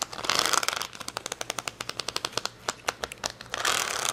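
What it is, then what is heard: Acrylic rhinestone sticker sheet. Long fingernails scratch and tap rapidly on a plastic rhinestone sticker sheet, an acrylic gem sheet with clear plastic backing resting on a towel. A dense, bright scratching rustle at the start and end frames a quick run of sharp, dry clicks that stop almost instantly.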